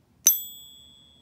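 A 24 karat gold Buffalo coin, held in a coin-holding device, is pinged once and gives a single bright, delicate ring. High tones near 3.4 kHz linger for about a second before fading, marking it as genuine 24 karat gold.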